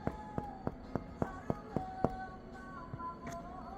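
Nine taps are struck on the heavy die-cast aluminum frame, about 12 mm thick, of a car-audio midbass speaker. Each gives a short, bright, clean ring with a sustained tone that fades quickly. The sound is clear and clean, which is credited to the rigid, heavy build of the frame.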